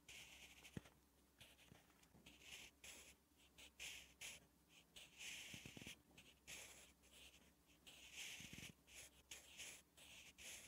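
A sharpened wooden graphite pencil writes Korean letters on a thin lined page of a spiral notebook lying flat. The scratchy strokes come in quick bursts of bright, hissing friction. A faint low hum runs steadily underneath.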